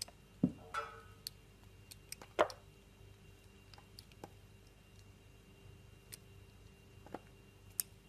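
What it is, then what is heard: Glycerin soap being shaved. A metal blade cuts and shaves thin slices from a solid translucent orange glycerin soap held in the palm. Quiet, irregular soft clicks and short scraping cuts are heard, with two louder slicing strokes near the start and middle over a faint steady hum.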